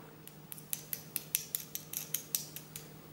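A pair of cheap earrings with small imitation crystals, bought for about 2 euros, is clicked together repeatedly, giving about 13 light, bright clicks with almost no ring over a faint low hum. The hard, hollow ticks sound like plastic rather than stone, and the earrings are judged not worth buying.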